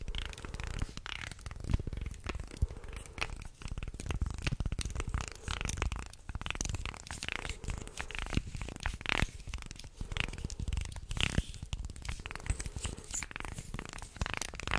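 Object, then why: Small carved wooden guiro. A small carved light-wood guiro shaped like a shark, with ridged grooves, is held up and then brought near the mic while a wooden stick and fingers scrape along its ridges. Dense, irregular rasping scrapes and clicks run throughout in close, heavy bursts, with a strong low rumble beneath bright grainy edges.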